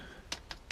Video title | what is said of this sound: Pewter Melting Experiment | just doesn't feel right it sounds hollow in the end